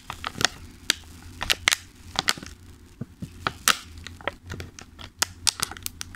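Fingertips tap and press the lid of a thin, clear plastic clamshell food container full of pastries resting on a table. They make an irregular series of sharp, bright, crinkly plastic clicks and crackles over a faint low hum. Each snap is dry and dies away almost instantly.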